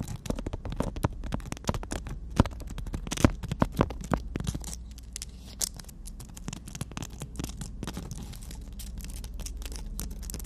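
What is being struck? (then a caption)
Emery board nail file tapped and scratched with fingernails. Long natural nails tap and scratch on a horizontal black emery board nail file printed with "we make-up". Dense, rapid clicks and scratchy strokes crowd the first half, some standing out sharply, then settle into a softer, steadier scratching with a low hum underneath.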